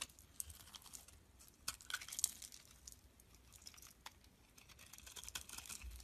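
A utility blade shaves curls off a solid, rectangular amber translucent soap bar held in the hand. The sound is quiet, bright, crisp scraping with a dense run of small crackling clicks and brief sharper bursts, and nothing rings after.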